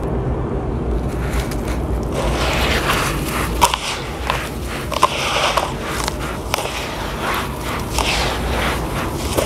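Bare hands dig into a heap of damp grey sand and dust, with some water at the edges, in a large blue plastic basin, squeezing, crumbling and rubbing the gritty mass against the basin floor. A steady, gritty crunching and scraping with a low rumble runs throughout, broken by several sharper, brighter crackles.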